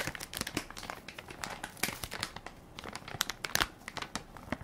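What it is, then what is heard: Plastic baby wipes soft pack crinkled. A hand-sized Equate baby wipes soft pack made of crinkly plastic film, full of wipes, is held in one palm while fingertips and nails press and crinkle the film. A dense, irregular stream of bright, crisp crinkles and sharp crackles follows, with a few louder snaps standing out. There is little low end, and each crackle stops almost instantly.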